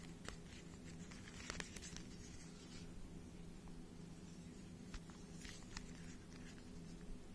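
Fingertips turn the layers of a small, hollow plastic 3x3 speed cube held above a microphone, producing quiet, scattered pattering clicks and brief bright ticks. The clicks come in loose clusters over a steady low hum.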